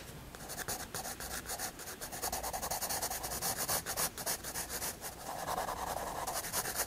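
A graphite pencil draws and shades a face on the flat white paper page of a spiral sketchbook, making rapid, uneven scratching strokes. The steady, bright, dry scratching rises and falls in short bursts, with a faint low hum underneath.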